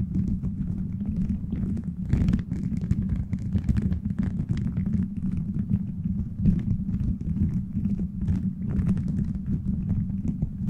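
Fingertips and nails scratch and tap a beaded plastic gummy-bear cover on a microphone, producing a dense, continuous low rumble around 200 Hz. Quick clicky taps and crackles run throughout, with a few sharper clatters standing out.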